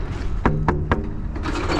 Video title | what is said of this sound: ⚖️ The importance of scaling your loads | make sure that they are all tight and preferably making that sound when I knock on them